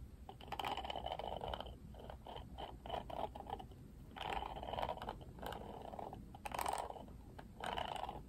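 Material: Plastic.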